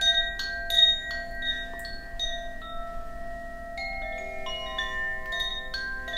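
A hollow bamboo Koshi wind chime with metal rods inside is hung from the fingers and shaken. It gives irregular, overlapping strikes of bright, high, bell-like tones. Each note rings on and layers into a shimmering wash of sustained pitches.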